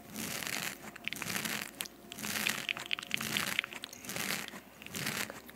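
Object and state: Foam microphone windscreen scratched with nails.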